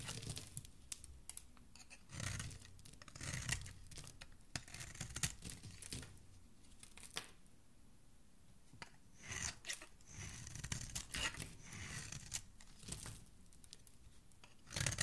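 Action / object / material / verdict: scrape / bar of soap / soap / none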